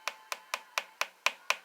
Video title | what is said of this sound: beware.... LUNA cheap frame. | right here this side that sounds solid